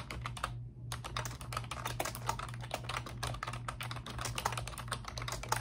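Both hands with long pink nails type rapidly on a pink plastic computer keyboard with round, backlit typewriter-style keycaps. The result is a dense stream of bright plastic clicks and clacks, broken by a brief pause near the start, over a steady low hum.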